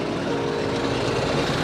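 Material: Nothing is struck.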